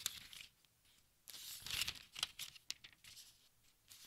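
Fingers flip the thin, crinkly pages of a large open textbook, making a run of bright, papery crinkling rustles. The rustles come in quick bursts, with a longer sweep in the middle, separated by near silence.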